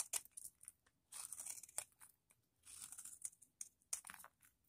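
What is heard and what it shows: A palm-sized block of vintage pale green dry bar soap, held in one hand, is scraped and shaved with a metal blade held in the other, and the flakes fall onto a marble surface already scattered with soap shavings. Quiet, bright, dry rasping strokes come in short bursts and longer drawn scrapes, with crisp crinkly crackles and almost no low end.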